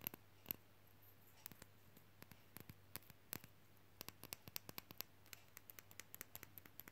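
Long fingernails tap quickly on a small, solid, glossy painted wooden matryoshka figure magnet held in the fingers. About forty short, dry, bright clicks with almost no ring come in uneven bursts over a steady low hum.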